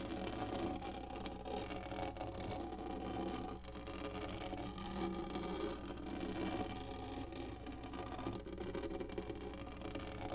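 Long nails on both hands scratch fast across a large, black, textured, hollow-molded plastic lap tray. The result is a dense, continuous scratching whir that stays at a steady level for the whole clip, with a hollow midrange body around 344 Hz over a faint low hum.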